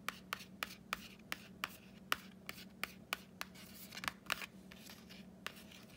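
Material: Cardboard.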